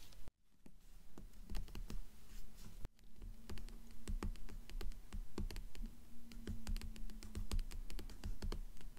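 Long nails tap and scratch the glossy paper dust jacket of a blue hardcover book lying on a stack. The result is a busy run of quick, dry clicks and soft scrapes, with a faint steady low hum underneath and two brief dropouts near the start.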